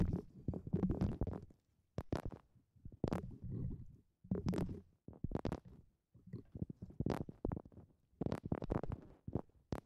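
A hollow, fibrous brown coconut shell half with husk fibers is held over the top of a microphone while long painted nails and fingertips rub and scratch its rough husk surface. The result is close, muffled scratching and rustling that comes in uneven bursts with short pauses between them. The sound is mostly low and rumbling, with brief brighter crackles.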